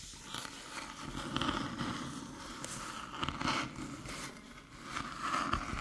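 Long metallic nails tap and rub across the top and front edge of a small, flat, hollow aluminium USB-C hub resting on a dark table. Light, dry clicks and scratchy scraping come in loose, uneven bursts with a bright edge and almost no ring.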